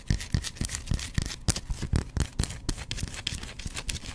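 A hand-sized, solid white bar of soap, held in one hand, is scratched with fingernails in a quick series of short strokes. Each stroke gives a dry, crisp scrape with a soft low thud beneath and a bright, airy hiss on top. The strokes stop dead with no ringing.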